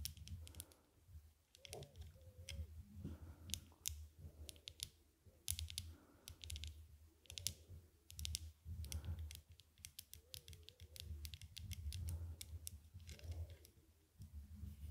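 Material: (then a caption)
Metal. Long nails tap the dark lenses of small metal-frame aviator sunglasses worn on the face, while fingers hold the frame at the temples. Quick, sharp, bright clicks come in dense clusters over a steady low hum, with faint soft murmuring underneath.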